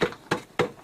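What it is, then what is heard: Hollow wooden beam. Four knocks on a large wooden beam about 10 meters long, which is hollow. Each knock is a short, dry, mid-pitched thud centered near 470 Hz that dies away within a fraction of a second, evenly spaced about 0.3 seconds apart.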